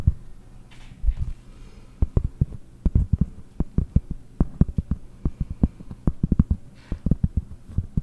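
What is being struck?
Pressed-cork board.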